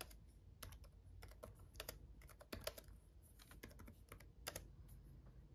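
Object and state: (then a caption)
Plastic laptop keyboard. Fingertips of both hands type on a black laptop keyboard with red backlit plastic keys. The result is a quiet, uneven run of short, dry clicks with bright tops that stop almost instantly, over a faint low hum.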